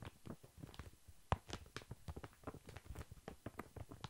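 A large, soft, full pack of baby wipes in thin plastic film is held upright and lightly tapped with long fingernails. The result is a quiet, rapid patter of short, soft taps with low, muffled thumps, faint crinkly clicks on top and very little ring. One tap early on stands out louder than the rest.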